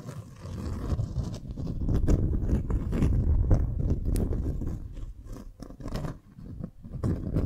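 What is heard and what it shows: A folded beeswax-coated cotton wrap sheet is held upright while long nails scratch it and fingers grip the waxy fabric. The result is a rapid, irregular stream of soft crinkling scrapes and crunchy rustles, heavy in low, muffled tones with occasional brighter scratchy streaks. The loudness swells through the middle and dips unevenly toward the end.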